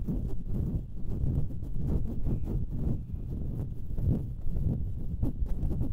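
Long painted nails scratch and tap the hollow metal mesh grilles of two identical stereo microphones at once, with no foam covers on them. The result is a dense, boomy rustling and thumping, heavy in the low end, broken by quick taps with brief bright edges.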